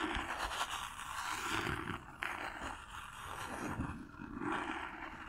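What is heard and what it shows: Long nails tap and scratch across the surface and corners of a small, hollow cardboard gift box covered in silver paper, held close to the microphone. The sound is a steady, dry, rasping scrape with a bright papery hiss, broken by a few sharper taps and brief pauses.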